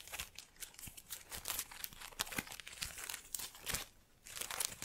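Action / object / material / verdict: scrape / artificial plant with plastic leaves / plastic / none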